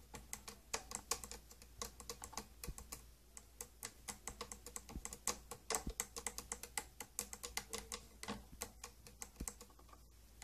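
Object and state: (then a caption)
Plastic case tapped with fingernails. Long green nails tap rapidly on the glossy purple domed plastic lid of a closed, hollow, round old tattoo kit case. The taps make a quick run of short, bright, hollow clicks, each ringing only briefly, over a faint steady low hum.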